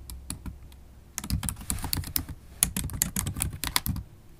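Fast typing with long stiletto acrylic nails and fingertips on a MacBook Pro laptop keyboard, which has low-profile black plastic keys in a silver aluminum body. Sparse taps give way, after about a second, to a dense run of quick, bright clicks and clacks over soft low thumps, each stroke dying away almost instantly.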